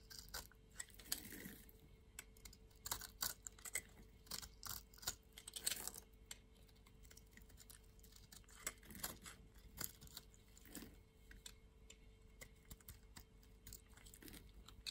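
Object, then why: Solid bar of soap cut with a steel blade. A green-handled steel utility blade cuts and flakes layered chunks off a solid pink bar of soap held in the palm. Quiet, dry crisp scraping and crunching come in quick bright clicks, with short low swells where the blade drags through the bar, and a faint steady hum runs underneath.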